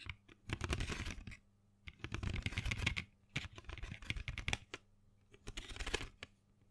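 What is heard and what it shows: Long fingernails rapidly tap and scratch a small printed cardboard box full of colored pencils held in the hand. The sound comes in four bursts of quick, dry clicking and bright scratching, each with a soft, hollow low thump. Brief quiet gaps separate the bursts.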